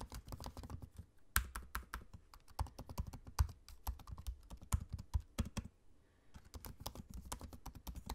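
Fingertips of both hands type on the low-profile black plastic keys of a space-grey aluminium laptop. A rapid, uneven stream of soft, dry keystroke taps with a dull, low thump is heard, with a brief pause near the end before the typing resumes.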